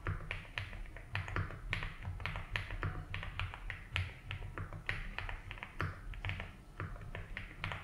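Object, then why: Mechanical keyboard with plastic keycaps. Fingertips slowly type on a 75% mechanical keyboard with ABS keycaps in a light blue plastic case. Short, dry clacks arrive at an uneven, relaxed pace, each with a bright click and a quick fade. A steady low rumble and a faint constant high tone sit underneath.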